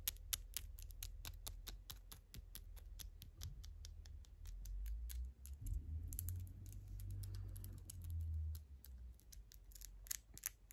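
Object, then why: Acrylic fingernails. Long gold glitter acrylic nails are pressed and tapped nail against nail, then the hard nail surfaces are rubbed together. Quick, sharp, bright clicks come at an uneven, rapid pace over a steady low rumble. The rumble swells in the middle as the clicking thins out, then the clicks return.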